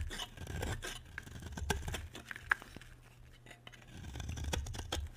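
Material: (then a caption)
Soap. A utility knife blade carves a solid white bar of dry soap, with flakes falling onto a white surface. Dry, crisp scraping and shaving strokes come in waves over a low rumble, with a sharp bright click partway through.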